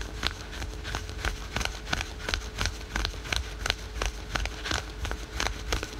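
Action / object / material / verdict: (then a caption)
scrape / spandex-polyester leggings / synthetic fabric / none. Fingernails rapidly scratch the printed fabric of patterned spandex/polyester yoga pants worn over the knee, producing about 21 quick, dry, crackling scrapes in an uneven rhythm. The sharp, bright strokes sit over a low rumble, with a faint steady hum running underneath.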